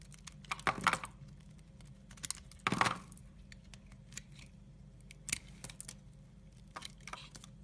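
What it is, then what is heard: Soap bar being carved. A utility knife blade scrapes and cuts shavings from a solid brown soap bar. Two longer, louder crisp scraping strokes stand out, surrounded by short, dry, bright clicks and crackles at irregular intervals over a quiet, low hum.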